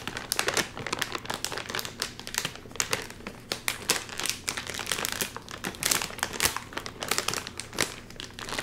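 A full, sealed red and white metallized plastic chip bag is held upright while fingertips crinkle it and pull at its seal. Dense, bright crackling and crinkling runs throughout, with quick sharp peaks and very little low end.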